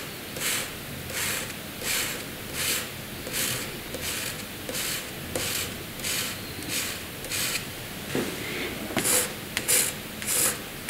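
A hand draws diagonal hatching strokes with a graphite pencil on a flat white sheet of drawing paper. A steady series of short, dry scratching strokes is heard, each a bright, hissy rasp, with the last few strokes sharper and louder.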